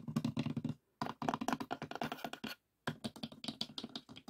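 Fingertips of both hands rapidly tap the lid of a closed, hollow, light pine wooden box with a metal latch. The quick, dry, hollow knocks come in three bursts separated by short pauses. Each tap is brief with almost no ring, showing a woody body around 200 Hz and a resonance near 700 Hz.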